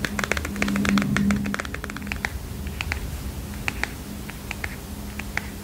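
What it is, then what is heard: Paper mini notepad tapped with fingernails. Long fingernails tap on a small heart-shaped paper mini notepad with a kitten print, a solid stack of paper held in the hands. Quick, irregular, crisp clicks come fast at first and then space out, each dying away almost at once. A steady low hum runs underneath throughout.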